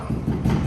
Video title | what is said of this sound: Destination Dream Home - Ep 4: A Look Inside a Custom Built Modern Farmhouse | that means the core of the door is hollow